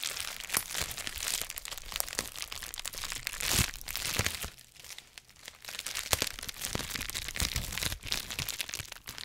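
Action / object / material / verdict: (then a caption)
scrape / plastic bubble wrap / plastic / none. A sheet of clear plastic bubble wrap wrapped around a white microphone is squeezed, crinkled and popped by fingertips. Bright, dense crackling and crinkling runs throughout, punctuated by many sharp pops, with a brief quieter stretch near the middle.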